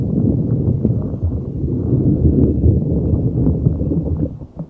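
A neon green soft rubber spiky puffer ball is rubbed and squeezed with fingers over a microphone. The result is a dense, low, muffled rumble of squishy rubbing and crackling, with energy mostly below 200 Hz, that fades near the end.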